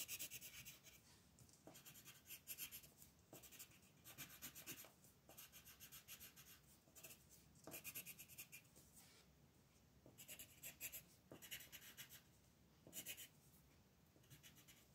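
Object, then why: Paper coloring page under a wooden colored pencil. A yellow wooden colored pencil colors in stars on a flat paper coloring book page lying on a table, while the other hand, with red nails, rests on the page. Quiet, bright, rapid scratching strokes come in bursts of back-and-forth rubbing, with little low end and short pauses between runs.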